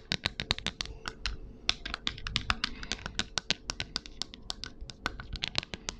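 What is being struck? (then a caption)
Clear plastic ruler. Long acrylic nails tap and scratch across a long, flat, transparent, shatter-resistant plastic ruler, about 30 cm and solid, lying on paper. Quick, bright clicks come in a rapid irregular stream, about 41 taps over six seconds, with soft scratchy friction between them.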